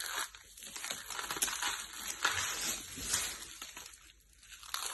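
A large pile of green and blue dry soap flakes is rubbed and crushed by both hands with the fingertips on a purple mat. The result is a steady, bright, crisp crunching and crinkling, with sharper crackles rising in waves and almost no low rumble.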